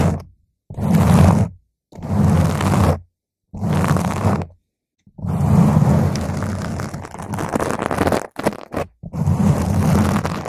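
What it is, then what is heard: Foam microphone windscreen being scratched. A round purple foam microphone cover is scratched with the long nails of both hands, producing dense, close, low-heavy rustling and scraping in bursts separated by short silences. A longer continuous stretch of scratching follows, then a few quick flurries and another sustained scratch.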